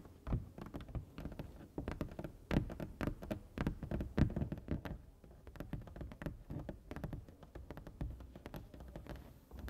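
Two hands with long nails tap rapidly on the white area of a large, flat printed foam board sign, making a dense patter of soft, dull taps. The taps are mostly low thuds with a little bright click, and each one dies away almost at once.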